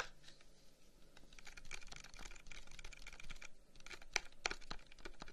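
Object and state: Wooden incense box.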